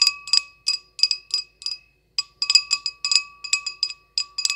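Long acrylic nails tap an empty, hollow small clear glass goblet with a short stem in quick, irregular bursts, with a brief pause near the middle. Each tap gives a bright, high glassy ping with clear ringing tones around 1.1 kHz and 2.6 kHz that fade quickly, with no low end.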